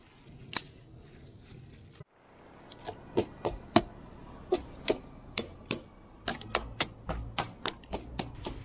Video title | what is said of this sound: No.212_ ウメの更新枝準備（中枝処理） | 枝の中が空洞になっているような音がします